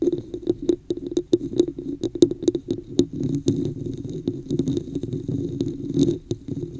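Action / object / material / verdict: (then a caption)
tap / plastic cup with textured surface / plastic / none. Long nails tap and scratch the top and sides of a hollow, empty red plastic cup with a woven texture, set upside-down over the mic. A rapid run of short, dry, hollow knocks centered in the low mids mixes with softer scratchy rasping. Each hit dies away almost instantly.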